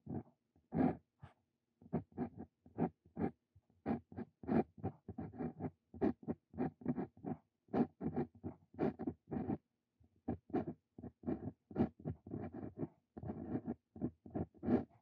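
A steel dip pen nib (Brause Cito Fein) writes on a lined paper sheet, scratching the paper as it moves. Quick, dry scratching strokes come in short bursts with brief pauses between them, mostly in the low-mid range with some bright edges. The whole passage is quiet and close.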